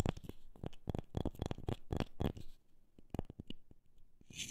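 A wooden object is tapped in a quick, uneven series of short, dry, low knocks with almost no ring. A faint bright brushing or scratching sound swells at the end.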